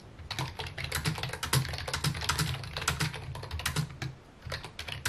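Fingertips type steadily on a full-size white and mint plastic computer keyboard with hollow key housings, resting on a wooden desk. Quick, irregular clacks pile up in a continuous stream, each a bright, short click over a low hollow thump. The typing eases briefly near the end before picking up again.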